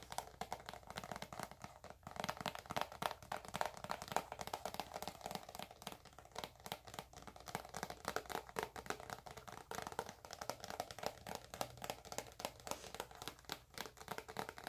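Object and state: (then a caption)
Plastic cream tube. Long acrylic nails tap and scratch a filled, hand-sized white soft plastic cream tube. Quick, dense, quiet clicks and scratchy crinkling run throughout, centered in the mids with little low end and a faint bright edge. Each tap dies away almost instantly.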